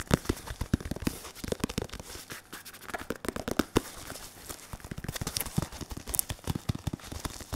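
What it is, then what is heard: Synthetic leather focus mitt. Fingertips of both hands, one latex-gloved, tap and rub the curved surface of a padded synthetic leather boxing focus mitt held in front of the chest. The result is a rapid, irregular run of short, dry, low thuds that stop almost instantly. Soft crackling and scratching rub sounds fill the gaps between the taps.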